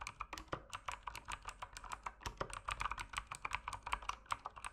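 Continuous fingertip typing on the plastic keycaps of an RGB mechanical keyboard produces a steady stream of sharp, short clicks and clacks. The keystrokes are quick and closely spaced, each decaying almost instantly. Their bright, mid-centered tone is focused around 1 kHz.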